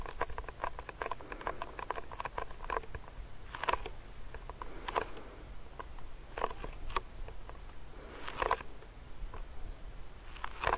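Fingernails tap quickly on the side of a medium clear plastic hand sanitizer pump bottle filled with gel. The result is a steady patter of light, dry clicks with a hollow tone around 1.1 kHz, each dying away almost instantly, over a low background rumble, with a few louder taps standing out.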